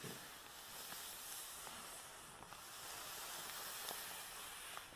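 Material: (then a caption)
Nylon. A black nylon Hama carrying bag holding a tripod, lying on a table, is rubbed and scratched with the palms and fingertips. The result is a steady, bright, hissy swish of fabric friction with faint scratchy ticks throughout.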